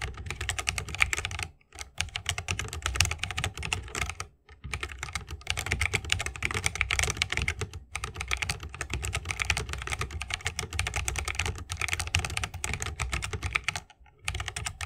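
Fingertips of both hands type continuously on a 60% mechanical keyboard with plastic keycaps and Holy Panda tactile switches, set in a bamboo wooden case. A dense, rapid stream of sharp, bright key clacks with a deeper low thump under each press is broken by a few brief pauses.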